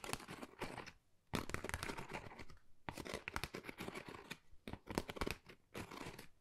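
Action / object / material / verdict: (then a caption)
scrape / textured cardboard folder / cardboard / none. Long nails scratch and tap a flat, pale pink, pebble-textured Dior cardboard folder held in the hands; the card is thin and hollow. The result is bursts of dry, crackly scratching and quick tapping with a bright, papery texture, separated by brief quiet pauses.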